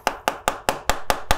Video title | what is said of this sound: Saya coba beli HP murah yang populer di TikTok... | ini sangat-sangat kopong karena nggak ada baterainya